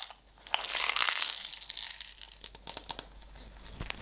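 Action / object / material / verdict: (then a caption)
scrape / plastic jar filled with small stones / plastic / none. A closed clear plastic jar full of green decorative stones is scratched and tapped on its walls and lid by long red nails. A bright, hissy crinkling scratch runs under a series of sharp, short clicking taps, with the stones faintly rattling inside.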